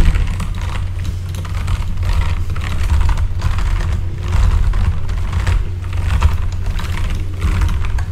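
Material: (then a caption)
Plastic. Rapid typing with the fingertips of both hands on a full-size backlit mechanical keyboard with plastic keycaps. Quick, dense clicks and clacks run together over a steady low hum throughout.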